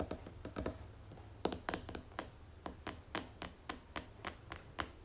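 Long nails tap on the top of the red plastic screw lid of a medium white pomegranate moisturizing cream tub, making around eighteen short, dry clicks in an uneven rhythm. Each tap is crisp and bright with almost no ring, over a steady low hum.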